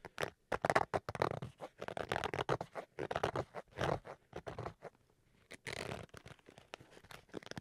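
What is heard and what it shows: Fingernails scratch and rub the fabric surface of a black zippered Switch carrying case with a fabric-covered hard shell, held upright near the mic. Quick bursts of dry, crackly scratching come in rapid, uneven strokes. After a brief near-silent pause, a longer, brighter rub follows, then lighter scratches.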